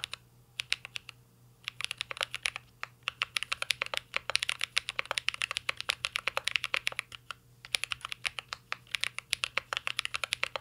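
Two hands type steadily with their fingertips on a full-size mint-green Cyberboard R3 mechanical keyboard with a metal case, plastic keycaps and Holy Panda switches, resting on a desk. Dense runs of short, bright clacks with almost no ring come in quick bursts, with a couple of brief pauses and a faint low steady hum underneath.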